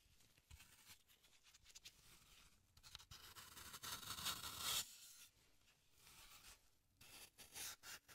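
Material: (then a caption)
Floral foam. A small metal carving tool carves and scrapes a hand-sized block of solid green floral foam held in gloved hands. Bright, dry, crumbly scratching strokes come in an irregular rhythm, swelling into a longer, louder scrape near the middle before returning to lighter, quicker scrapes.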